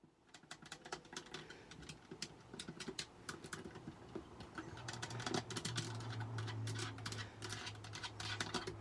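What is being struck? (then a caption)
Plastic game controller. Long purple acrylic nails tap and click the buttons, rubber thumbsticks and hollow shell of a handheld white plastic Xbox-style game controller with colored face buttons, lying on a grey hexagon-patterned mat. Rapid, irregular, dry plastic clicks and taps sound bright and short, over a steady low hum that grows louder from the middle of the clip.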